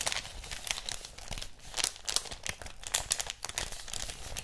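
A thin floral-print paper wrapping sheet is folded and crumpled between both hands and crinkled with the fingers. The result is a steady stream of dense, bright crinkles and crackles with brief louder bursts, each dying away instantly, over a faint low rumble.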